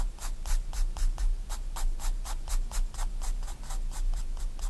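A 4B pencil rubs in dense, rhythmic back-and-forth shading strokes across a white paper sketchbook page lying flat. Each stroke makes a bright, airy scratch over a steady low rumble.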